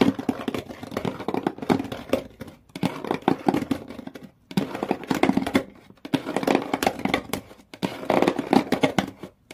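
Long nails scratch hard down the inner cardboard walls of an empty, open shoe box with a corrugated-textured brown cardboard floor, while hands grip its blue rims. The result is a series of rough, crackly scraping bursts, mostly in the low-mid to mid range, separated by brief near-silent pauses with almost no ring afterward.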